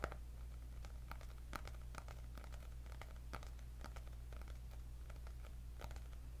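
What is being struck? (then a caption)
Hardcover paper notebook with cardboard cover. Long nails scratch and tap across the cardboard cover of a white hardcover paper notebook with gold dots. Quiet, short, dry ticks and scrapes sound over a steady low hum.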